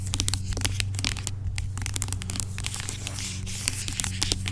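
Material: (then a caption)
Plastic. Long acrylic nails scratch and tap the sides of a large dark plastic pump bottle of aloe vera gel lying on its side, hollow and seemingly filled with gel. A steady stream of quick, bright scratching and crackly tapping sounds plays over a constant low hum near 90 Hz.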